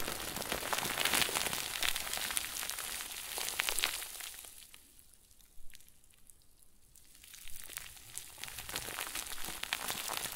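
A round white plastic bag stuffed into a crinkle ball is squeezed and crumpled with both hands, producing dense, bright crackling. The crinkling fades to near quiet in the middle, broken by a single sharp crackle, then builds back up to steady crumpling.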